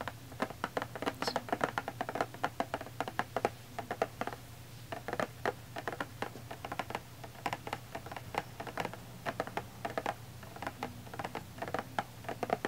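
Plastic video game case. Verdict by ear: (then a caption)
Empty. Fingers tap quickly and continuously on an empty plastic video game case, producing light, dry clicks with very short ring over a steady low hum. The case holds nothing inside, so the taps sound hollow and different from tapping on filled boxes.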